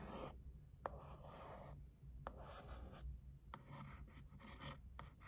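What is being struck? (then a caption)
Cardboard box. A held white printed cardboard box is scratched and traced with a thin wooden stick, giving soft dry scraping strokes. Sharp little taps land between the strokes, over a low steady hum. The sound is quiet and close.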